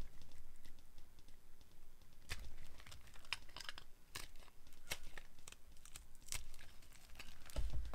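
A solid, translucent, dry yellow glycerin soap bar is held in the hand and carved with a metal blade that shaves off small crunchy cubes. Quiet, dry, crisp crackles and sharp bright snaps come in an irregular run over soft scraping and a low rumble, each one dying away almost instantly.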